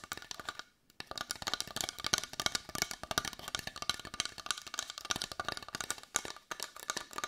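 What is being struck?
Carved wooden heart.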